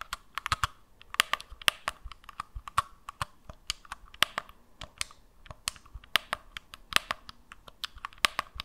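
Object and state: Plastic game controller.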